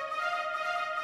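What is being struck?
Nothing is struck.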